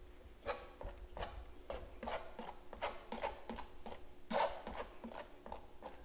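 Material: Canvas.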